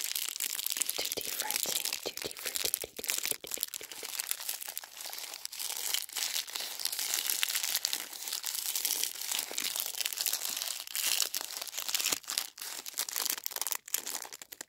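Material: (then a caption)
Plastic film. Fingers and nails crinkle the filled plastic film wrapper of a Long Rainbow Snake Candy. The result is a steady, dense stream of bright, crackling rustles with almost no low end, broken only by brief quiet gaps throughout the clip.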